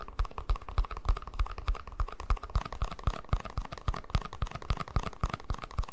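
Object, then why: Small plastic cup. A small, hollow, empty white plastic cup is held in one hand and tapped and scratched with the fingertips and nails of the other. Quick, irregular, clicky taps come at a steady busy pace, each with a dull low thump and a hollow midrange tone around 1 kHz, while a faint bright scratching runs between them.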